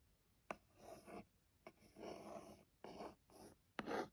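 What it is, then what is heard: Cardboard box scratched and tapped with nails. Long gold-tipped nails scratch and trace the black printed letters on a small, hollow, closed white cardboard phone case box, with some fingertip tapping. Four sharp taps are heard, each followed by a soft, dry scratching rub centered in the low mids with faint bright edges.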